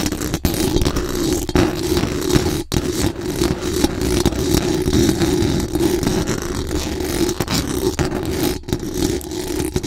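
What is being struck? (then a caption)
Metal mesh microphone grille. Very long acrylic nails scratch fast across the hollow metal mesh dome grille of a large condenser microphone. The result is a dense, continuous scratchy rasp with a heavy low rumble and a strong mid band, broken only by a few brief gaps.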